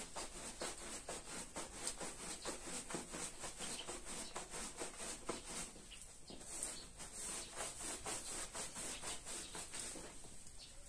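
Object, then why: Wet wool pile rug scrubbed with a stiff hand brush. A gloved hand scrubs a small red patterned wool pile rug, wet with soap foam and lying flat on the floor, using a small handheld green scrub brush. The result is a steady run of rapid, rhythmic bristly scrubbing strokes with a bright, hissy edge. Around six seconds the strokes ease off briefly, then pick up again into softer, wetter rubbing.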